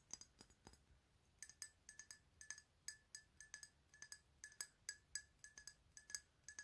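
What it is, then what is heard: Glass perfume bottle. A rectangular glass perfume bottle with a white label, filled with liquid and held in both hands, is tapped with long nails. About thirty quick, bright clinks come in an uneven rhythm, each with a short, high glassy ring.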